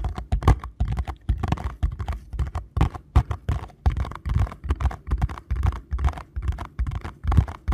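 A small paperboard box is held in both hands while fingertips and nails tap and scratch its printed front. The result is a steady run of quick, dull, low thumps with short scratchy rustles between them, each tap dying away almost at once.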